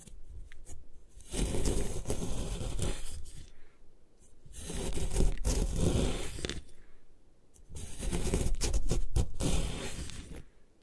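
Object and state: Gym chalk block being scraped.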